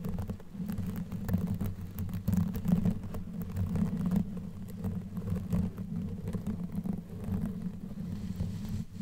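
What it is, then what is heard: Knitted yarn microphone cover being scratched. Long nails on both hands scratch a black knitted yarn sleeve pulled over a microphone head. The result is a dense, continuous scratchy rumble, concentrated in the low range with a muffled woolly hum. Quick rustling flicks rise and fall throughout.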